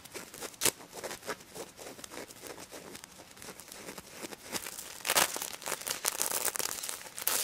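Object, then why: Plush toy covered in plastic sequins. Long nails scratch the plastic sequins on a pink stuffed pig toy with mesh fabric ears, making a dense, bright, crinkly rasp with a few sharper clicks. The scratching stays soft and steady through the middle, then turns louder and fuller toward the end.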